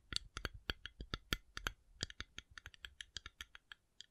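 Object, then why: Coconut shell. A coconut shell is tapped in a quick, uneven run of about 26 short, dry clicks. Each tap is bright and crisp with a faint low thump underneath and almost no ring, ending abruptly.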